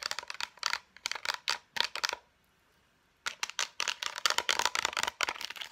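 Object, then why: Plastic and cardboard blister pack. Long nails tap quickly on a concealer blister pack, striking both its clear plastic shell and the cardboard backing. The taps come as bright, crisp clicks, mostly high-pitched with a faint tone around 1.2 kHz and no low end. They die away almost instantly, in two rapid bursts separated by about a second of silence.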